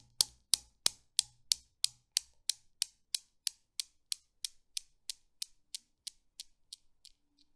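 A fingertip with a long blue nail pulls back and releases an end ball on a desk Newton's cradle with a chrome frame on a mirrored black base, its five small solid polished steel balls hanging on strings. The balls knock together in 21 sharp, bright clacks at a steady pace, each one dry with almost no ring, and they gradually grow quieter as the swing dies down.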